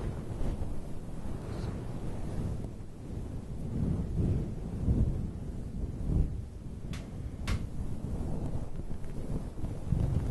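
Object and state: Faux fur microphone windscreen.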